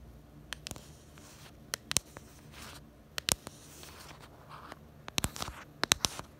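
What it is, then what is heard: Plastic phone case. Long acrylic nails tap and scratch the back of a pink hard plastic case on a small smartphone held in both hands. Eleven sharp, bright clicks come in uneven clusters, with soft scratchy rustling between them. Each tap stops almost instantly with no ring.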